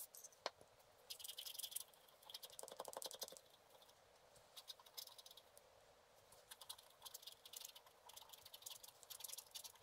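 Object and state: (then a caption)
Scratch art paper being scratched. A wooden stylus scratches short strokes across a thin, solid, black-coated scratch art card lying flat. The result is quiet bursts of dry, bright scratching and fine rasping with no low end and almost no ring, separated by brief pauses.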